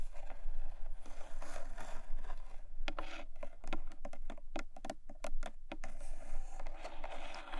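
Long nails tap and scratch along the side and top edge of a small, long, closed black textured cardboard jewelry box. Soft, dry scraping fills the start and end, with a quick run of crisp, bright taps in the middle over a steady low hum.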